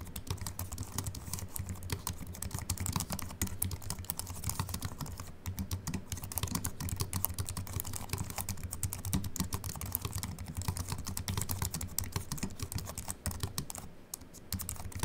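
Fingertips of both hands type fast on a compact Apple keyboard with a silver aluminium body and white plastic keys, resting on a wooden desk. A dense, steady stream of short, dry key clicks carries a soft low thud under each press and a bright tick on top, with almost no ring after each strike.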